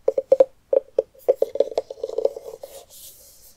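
A medium orange pumpkin with its top cut off and its inside scooped out is held up, then set on a wooden table. Long nails and fingertips of both hands tap and scratch around its rim and sides. Hollow, resonant knocks centered near 530 Hz come first, then faster, denser tapping, and finally a bright, airy scratching toward the end.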